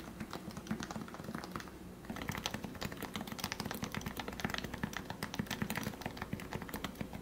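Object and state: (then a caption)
Plastic Topre keyboard typing. Fingertips type steadily on a lubed plastic Topre keyboard, a Leopold FC660C with 45 g switches. The keystrokes are soft, short and rounded, with a muted low thock and faint brighter clicks. The typing is lighter for the first two seconds, then becomes a denser, steady run of keypresses.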